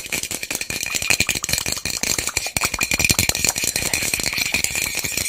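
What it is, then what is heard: Plastic bottle with loose contents. A small white plastic bottle with loose contents is shaken and turned in the hands close to the microphone. It makes a rapid, continuous, bright rattle of dense clicks that barely ring, with steady loudness throughout.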